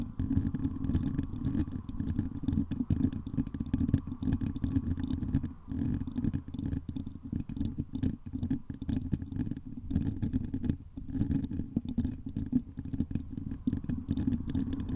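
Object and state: Metal mesh microphone grille tapped and scratched.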